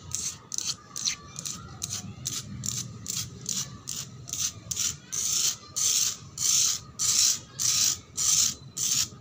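Long black pointed nails scratch a flat, solid, rough concrete floor that is damp and marked with red paint patches. About twenty quick, bright, gritty scrapes follow in a steady rhythm, growing louder and longer toward the end.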